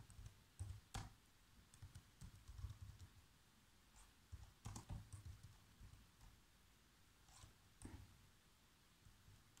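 Fingertips type on black plastic laptop keys, making about eleven quick, irregular key taps. Each tap is a short, soft, low thud with a brief bright click, dying away almost instantly over a quiet background.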